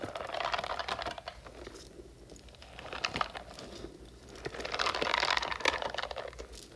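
Long nails scratch across the nubs of a hand-sized, hollow blue silicone spiky puffer toy while hands squeeze and stretch it. The result is a dense, crackly, crinkling texture with quick bright ticks and rubbery squeaks. It swells louder at the start and again around the fifth second, then eases off between.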